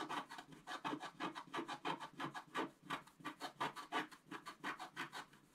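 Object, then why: Coated scratch-art paper card scratched with a wooden stylus. A wooden stylus scratches a flat coated scratch-art paper sheet in quick, rhythmic back-and-forth strokes, roughly three per second. Each stroke is a short, dry, raspy scrape centered in the mid range with a bright, hissy top, and the strokes stay distinct with almost no ring between them.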